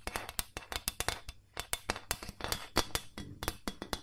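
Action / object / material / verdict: tap / ribbed carbon steel loaf pan / carbon steel / none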